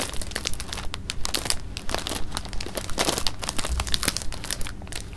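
A clear plastic bag of jelly beans is held in the hands while the fingers crinkle it and shift the beans inside. The result is steady, close crinkling with quick, bright crackles and a low rustling rumble from the handling.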